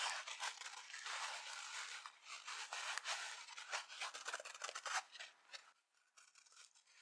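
A dry yellow and black foam kitchen sponge with an abrasive scouring pad, held by hand above an empty glass bowl, is scratched with long nails and bent and squeezed by the fingers. It gives a dense, bright, scratchy rustle with sharp crackling bursts and no low end. The sound thins to quieter, sparse scrapes near the end.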